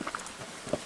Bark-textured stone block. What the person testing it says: it has a very Hollow sound very Hollow